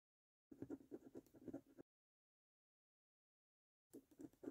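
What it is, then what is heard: Scratch card being scratched. A coin held between the fingers scratches the remaining latex coating off the numbers on a thin, flat, printed cardboard lottery scratch card. Repeated quiet, raspy scratching strokes come in two bursts separated by a long silence, with a low-mid scraping tone and little high-end hiss.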